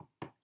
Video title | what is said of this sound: WEEKEND VLOG - Liv Chatham | it sounds like I'm tapping on my head it sounds like wood but it's because my fingers tapping off camera on the wood